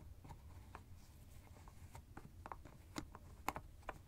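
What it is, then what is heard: Plastic screw cap of an ice bag. Fingertips and nails twist and tap the white plastic screw cap of a teal fabric ice bag held in a hand. A quiet series of short, dry clicks and taps rises over a soft low rumble. The sharpest snaps come near the end.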